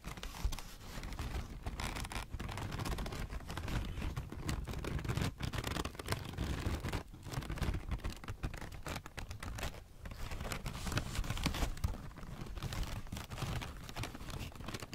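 A large, crumpled, light grey paper ball is held close while its folds are rubbed and scratched with fingertips and long nails. The result is a steady, dense stream of soft crinkling and scratching with a heavy low rumble and little bright hiss.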